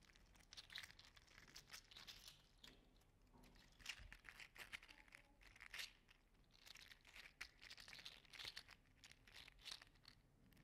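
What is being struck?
Articulated 3D printed plastic slug toy.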